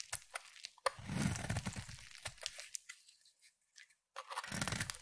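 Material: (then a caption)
Soap. A utility knife blade shaves flakes off a palm-sized solid peach bar of soap. Crisp, crunchy scraping strokes and sharp cracks with bright edges come in bursts, with a quiet pause before a final burst of shaving.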